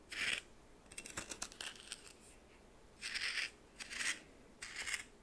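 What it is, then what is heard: Coarse salt scraped in a small bowl. A red plastic spoon held in the fingers stirs and scrapes a pile of white coarse salt in a small bowl that appears to be glass. Short bursts of scratchy, bright crystal scraping and crackling come with quiet gaps between them. The sound is high and crisp, with almost no low end.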